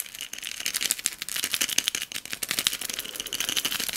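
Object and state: Glass cup of beads, tapped and shaken.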